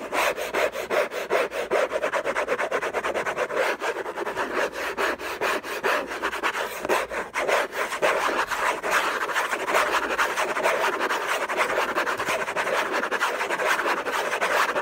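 Fingertips and short nails scratch rapidly and hard across the lid of a closed, long rectangular orange Hermès cardboard box covered in textured paper, lying on a fluffy blanket. The result is a dense, continuous run of dry rasping strokes centered in the midrange, with little low end and a slightly brighter texture toward the end.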